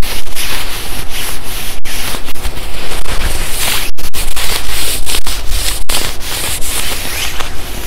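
A black quilted nylon puffer jacket is being worn while one hand rubs and scratches the padded chest and collar with the fingertips. The result is a continuous, dense swishing and scratching of fabric, with bright hiss and short gaps between strokes.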